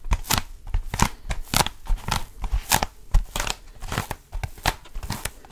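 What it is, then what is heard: Foam roller. Fingertips grip and scratch the textured surface of a long blue foam roller, a lightweight solid foam cylinder. A quick, irregular series of short, dry, crackling scratches and soft thuds sounds, with a low rumble beneath the bright, crinkly noise.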